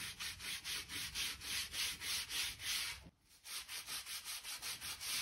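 A stiff-bristle crevice brush is rubbed back and forth along the joints of solid oak floorboards, brushing dirt and dust from between the planks. The result is a steady rhythm of bright, hissy, scratchy strokes, about three or four per second, with a brief pause around the three-second mark before the strokes resume.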